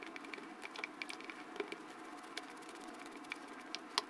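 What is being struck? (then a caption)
Foam slime in a plastic jar. A light-blue plastic spatula repeatedly pokes and scrapes pink and yellow foam slime in a small clear plastic jar held in hand. It makes soft, moist crackling and squishing pops over a steady bright hiss. There are no low tones, and the brief sharp crackles peak near the end.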